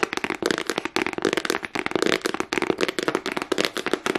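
A small, hollow black hard plastic case with a price sticker is tapped and scratched fast with long nails. A dense run of sharp, bright clicks and scrapes follows in quick bursts, each dying almost at once, with a hollow midrange tone and almost no low end.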